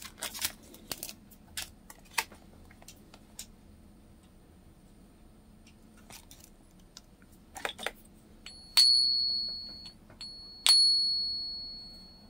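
A .999 fine silver coin is pinged twice in a ping tester after a stretch of soft clicks and handling taps. Each ping rings out as a clear, high bell-like tone that slowly decays, marking the coin as real silver.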